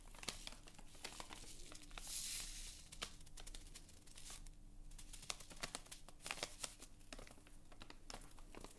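A small, flat, printed plastic or foil sachet of Haas cherry kissel instant jelly powder, apparently full of powder, is held in both hands by the fingertips and crinkled and rubbed in front of the face. Dense, bright crinkling and sharp crackling clicks continue throughout, with a brief louder hissing rustle around two seconds. A steady low hum sits underneath, and the sound is quiet and close.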